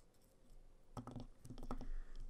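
A palm-sized, flat solid pine snowflake ornament with blue-painted edges, resting on a sketchbook, is tapped and scratched on its face and edges with fingertips and painted fingernails. Soft, dull, low clicks and light scratching patter come in a quick cluster after a quiet start, each dying away almost at once.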